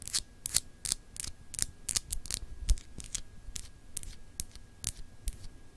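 Long acrylic nails scratch across a small, solid, clear glass globe paperweight etched with continents. The result is a quick, irregular run of short, bright, scratchy strokes, each with a dry tick and a soft low thump beneath it.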